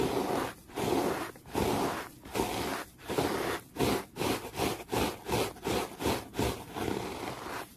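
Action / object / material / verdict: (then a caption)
scrape / terry cloth towel / cotton terry / none. A small yellow brush or sponge tool, held in a hand, brushes a bunched-up, soft, grey-green textured terry cloth towel fast and aggressively. Rough, breathy scraping strokes come in steady back-and-forth bursts with brief gaps between them, growing shorter and quicker in the second half. The sound is mostly full-bodied mid-range rustle with a hiss reaching up high.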